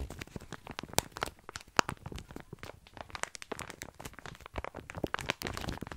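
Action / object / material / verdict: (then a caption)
scrape / plastic bag of small dry pasta / dry pasta / none. Fingertips scratch and squeeze a full plastic bag of tiny dry pasta close to the mic. The result is a dense stream of crisp crunching and crinkling with brief, bright clicks and the occasional sharper snap. The sound has no ring and stays mostly quiet throughout.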